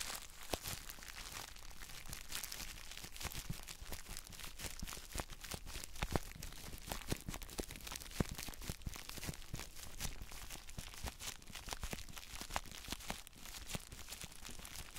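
Gloved fingertips press, squeeze and rub clear plastic bubble wrap around a palm-sized block of gym chalk held in both hands. The result is a steady, quiet crinkling and rustling, broken by many sharp, bright snaps and crackles that stop instantly.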